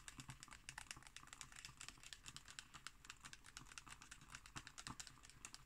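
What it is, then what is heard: Glossy magazine page tapped and scratched with fingernails. Long green nails tap and scratch on the illustrated glossy page of an open magazine lying flat on a wooden table. A rapid, irregular stream of quiet, dry, bright clicks mixes with a papery scratching hiss. Each tap dies away almost instantly.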